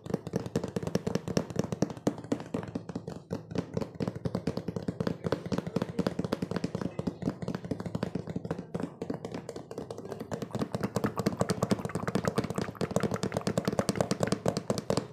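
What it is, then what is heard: Empty cardboard box. Fingertips and nails tap rapidly on the sides of an opened, printed cardboard cookie box that is hollow and empty. A fast, continuous stream of short, dull, hollow taps carries mostly low and midrange tones, with very little brightness and almost no ring after each hit.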